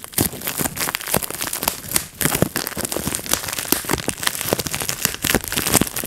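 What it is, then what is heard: Plastic bubble wrap being popped. Fingertips pop the bubbles of a clear plastic bubble wrap sheet and crinkle it. The result is a dense run of sharp, bright snaps over a steady crackling rustle. The pops come in quick bursts with only brief lulls.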